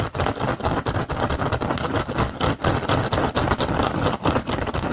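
Both hands scratch fast with fingertips and short nails across the woven surface of a hollow woven rattan basket. A dense, continuous scratchy rasp runs throughout, with quick, irregular bursts of scraping that reach bright and carry a low, hollow rumble beneath.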